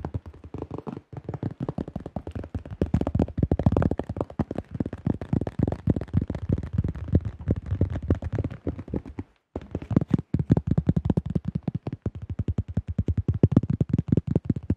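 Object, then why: Plastic disc golf disc. Fingertips and nails rapidly tap and grip a tan plastic disc golf disc with a blue rim and a drawn design, about 21 cm across, a thin hollow-rimmed shell held in both hands. The result is a dense stream of quick, dull, low-heavy plastic taps and knocks with almost no ring, broken by a brief pause near the middle before the fast tapping resumes.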